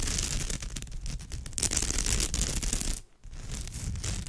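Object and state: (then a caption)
Woven straw bag scratched with nails. Long nails on both hands scratch across the surface of a woven straw bag, making a dense, continuous crackling scrape with bright, rustling highs and a low rumble underneath. The scratching pauses briefly at about three seconds, then resumes.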